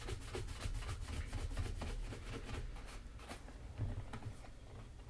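A wooden-backed bristle brush is swept briskly back and forth over the leather upper of a black leather Magnanni double monk strap shoe held in hand. The result is a steady, rapid scratchy brushing of about four strokes per second, with faint bright bristle swishes over a dull low rumble.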